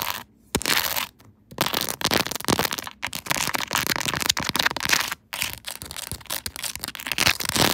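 Long acrylic nails from both hands tap and scratch a smartphone's clear plastic case, which is set on a tripod and covered in rows of small raised resin cartoon charms. The sound is a dense run of bright, crisp clicks and scratchy rasps with very little low end, broken by a few short silent pauses.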